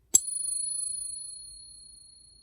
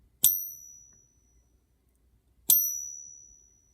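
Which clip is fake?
The second.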